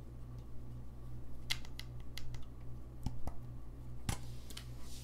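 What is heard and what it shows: Fingertips tap and click the keys of a gold-lacquered brass saxophone held upright. Sharp, bright clicks come at an irregular pace over a steady low hum.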